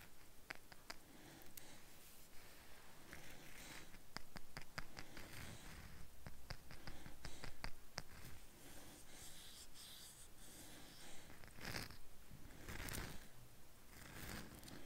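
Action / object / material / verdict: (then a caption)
tap / agate geode half / agate / none. Fingertips and nails tap and scratch a palm-sized blue agate geode half with a polished banded face and hollow crystal center, held on a lap with a dog asleep beside it. Quiet, irregular sharp clicks and ticks mix with soft dry scratching over a low, steady rumble.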